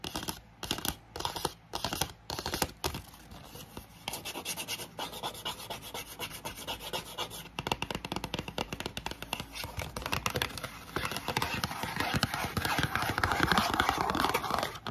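A small, hollow, printed orange-red cardboard CBD gummies box is handled open and closed, then tapped and scratched fast with long painted acrylic nails. Dry, irregular scratches and hollow taps come in quick bursts, growing denser and louder toward the end. A fan runs steadily in the background.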